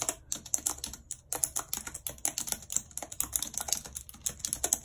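Long red acrylic nails type rapidly on a full-size white plastic computer keyboard with a numpad and hollow keys, lying on a world map. A fast, uneven stream of bright, sharp clicks and clacks follows, each tap dying away at once with almost no low end.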